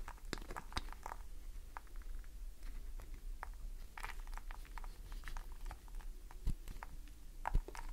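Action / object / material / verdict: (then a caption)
scrape / glycerin soap bar scratched and tapped with fingernails / glycerin soap / none. Long fingernails scratch and tap the face and edges of a solid green glycerin soap bar held in a hand. The result is quiet, irregular crisp clicks and short scraping strokes, with a few sharper taps, over a steady low hum.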